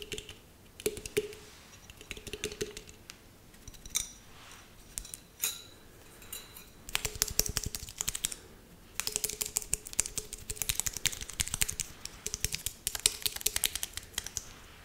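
Long nails tap the sides and metal lid of a hollow, handheld decorated glass jar with a star decoration. Sparse, bright clicking taps give way to dense, rapid bursts of crisp ticking, with a faint low ring under some strikes.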